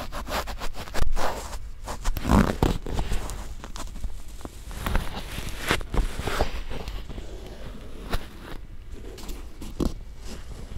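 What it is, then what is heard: Silicone ear microphone being scratched. A cotton swab held in fingers with long dark nails rubs and scratches inside the canal and folds of a white, soft, solid silicone ear-shaped binaural microphone on a round base. The result is close, muffled scraping and crackling, dominated by low rumble with brief louder brushing bursts.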